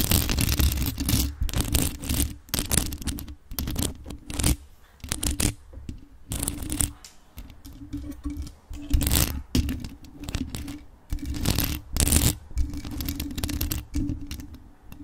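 Extra-long acrylic nails scratch rapidly over the black mesh grille and body of a hollow, grey metal USB microphone decorated with rhinestones. The scratching comes in dense, rough bursts with bright, tearing edges over a heavy, boomy low rumble. Quieter gaps fall between the bursts.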